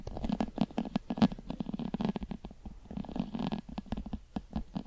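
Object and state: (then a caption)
Leather American football. Long pointed metal claw nails scratch a full-size, hollow, inflated brown pebbled leather American football held beside the microphone. A rapid run of short, dry scratching strokes plays against the inflated ball's hollow, low resonance, with bright ticks on the sharper strokes.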